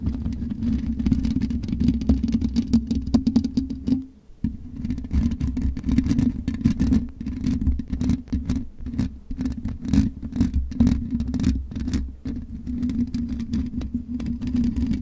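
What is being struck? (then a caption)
Metal mesh microphone grille. Long nails of both hands scratch rapidly across the black metal mesh grille of a USB microphone, making a dense, continuous scraping and crackling with a heavy low rumble and a steady mid-low hum. The scratching pauses briefly near four seconds, then resumes just as busy until the end.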